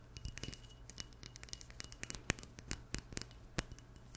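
Long nails tap a small glass perfume bottle with an oval label and black cap, producing a rapid, irregular series of short, bright chiming clinks. A few taps ring out sharper than the rest over a faint, steady low hum.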